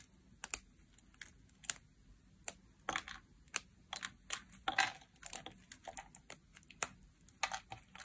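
A solid chunk of dry orange soap, held in a hand with long black-tipped nails, is shaved with a metal utility knife blade over a pile of shavings. About two dozen short, crisp scrapes and crunchy cuts sound in an irregular rhythm, bright and dry with almost no low end and no ring.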